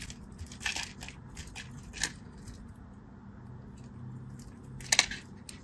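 A craft knife carves and scratches a solid orange-and-white striped bar of soap held in the fingers. Crisp, bright scraping and crunching cuts stand out over a quiet, low background hum, with the sharpest cuts near the start, middle and end.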